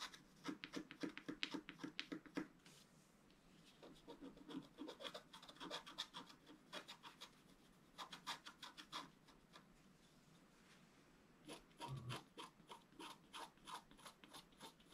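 A thin wooden stylus scratches across a flat, black-coated scratch-art card, with a brush lying unused beside it. Quick, bright scratching strokes come in irregular bursts, with quieter pauses between passes. Each stroke is dry and short, with no ring after it.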